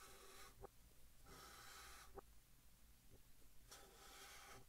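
A white chalk stick held in the fingertips writes on a large, flat green chalkboard in a wooden frame, and the sound is played in reverse. Bursts of bright, dry scratching stroke across the board, broken by quiet gaps. Two short, sharp taps stand out among the strokes.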